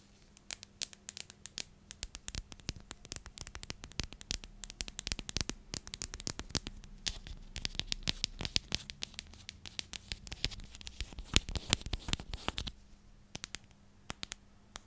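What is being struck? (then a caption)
Plastic storage container. A clear plastic cylindrical container with a purple lid is held in both hands and tapped and scratched with long nails. The result is a quick, irregular stream of sharp, bright clicks and crackly scratching that dies away instantly, growing denser in the middle and thinning out toward the end over a faint low hum.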